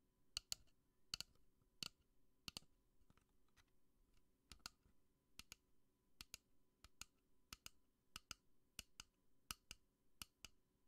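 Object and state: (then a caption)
Plastic lamp tapped with nails. A pink plastic bunny lamp with a black base is held and tapped and clicked with long nails. About 23 sharp, dry clicks sound over a quiet low hum, each bright and high with almost no ring.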